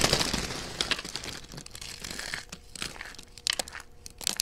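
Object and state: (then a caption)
Dry soap flakes. A hand with long dark-red painted nails crushes and crumbles a pile of thin, dry, pale yellow-and-white soap shavings, solid brittle flakes, between its fingertips and palms. A dense, bright crinkling crunch is loudest at the start, then thins into quieter crackles, with sharper snapping bursts near the middle and again at the end.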